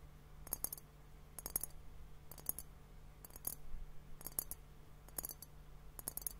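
A clear, hollow glass liquid hourglass timer holding pink liquid and foam is held in both hands and tapped with fingertips and nails. Quick, bright clicking taps come in short clusters about once per second, each dying away almost instantly. A steady low hum sits underneath throughout.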